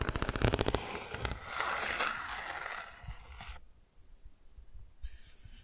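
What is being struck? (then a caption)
Cardboard board book with textured patch. Long nails tap and scratch across the textured car patch on the bicycle and car pages of an open cardboard board book. A quick run of dry taps opens the clip, then gives way to a longer bright scraping rasp. This fades into softer, scattered taps, with a faint high hiss near the end.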